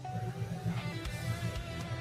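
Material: Nothing is struck.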